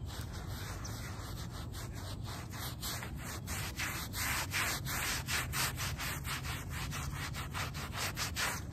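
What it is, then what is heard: Wet shag fabric rug being scrubbed. A small, wet, muddy shag-pile fabric doormat is scrubbed with a small wooden-backed bristle brush. Quick, steady back-and-forth strokes make a continuous scratchy, rubbing hiss with bright bristle swishes over a low, damp rumble. The sound grows slightly louder and more vigorous partway through.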